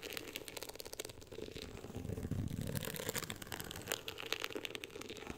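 Both hands scratch the woven-texture beige cover of a closed hardcover book with long acrylic nails. The result is a dense, continuous run of crackly, bright scratching ticks over a soft low rumble, with no ringing after each stroke.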